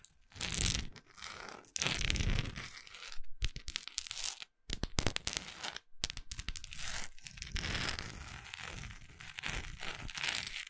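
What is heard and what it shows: A large solid orange wax pillar candle with a textured surface is scratched with long acrylic nails, including near its labeled bottom. Dry, crunchy scraping and tearing-like rasps come in bursts with brief silent gaps, combining a low rumble with bright crackle.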